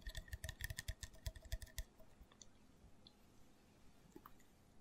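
Fingernails tap rapidly on a small, hollow, open green plastic L-carnitine shot bottle, likely empty, producing a fast burst of light, dull clicks with a resonant tone for nearly two seconds. The tapping then gives way to quieter scratching along the bottle's body and bottom, with a few faint, bright ticks.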